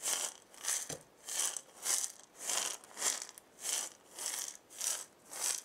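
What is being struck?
Wooden maraca with loose filling.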